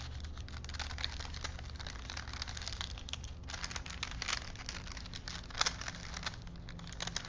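Fingertips roll and flex a thin printed paper film strip on small wooden spools, crinkling the paper. Soft, dense crackles and rustles sit over a steady low rumble, with a sharper crinkle burst near the end.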